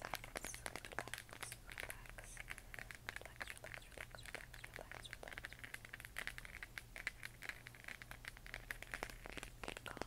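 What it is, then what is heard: Plastic moon lamp tapped with nails. A hollow 3D-printed plastic LED moon lamp, glowing white and pink, is held in both hands and tapped with long nails and fingertips across its textured surface. The result is a quiet, rapid, irregular stream of short, dry clicks and taps, bright with a peak near 1.6 kHz, over a steady low hum.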